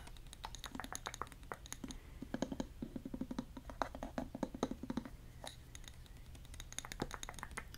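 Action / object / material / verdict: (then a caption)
tap / glass jar with bamboo lid / glass / none. Fingernails tap on a glass jar with a bamboo lid and yellow contents inside, striking both the glass and the lid. Quick, dry clicks and ticks come in uneven bursts, each dying away almost at once, over a steady low hum.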